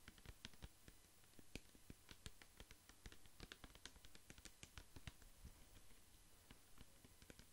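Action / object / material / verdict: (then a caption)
tap / plastic pump bottle filled with liquid / plastic / none. A large clear plastic pump bottle filled with amber liquid is tapped with fingertips and nails while held close to the microphone. Quick, irregular, sharp clicks and taps patter continuously over a faint steady low hum, each tap short and dry with almost no ring. The sound stays quiet throughout.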